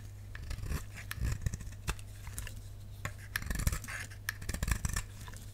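A utility knife blade carves a solid, dry, dark purple bar of soap held in the palm, with scraping cuts taking off slices. Short, crisp scraping and crackling strokes come in bursts over a steady low hum.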